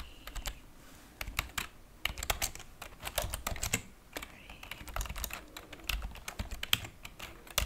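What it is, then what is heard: Plastic computer keyboard being typed on. Long painted fingernails type and tap on the plastic keys of a white plastic computer keyboard resting on a wooden table. Quick, bright clicks come in uneven bursts, each dying away almost at once, with a soft low thud under some strokes.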